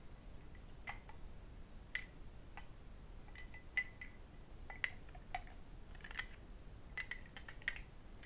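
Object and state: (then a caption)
Cut crystal glass tumbler. A small, empty cut crystal glass whisky tumbler, held in the hands, is tapped with fingertips and metal rings. Irregular, short, bright clinks with a glassy ring near 2 kHz fade almost instantly over a quiet, low background hiss.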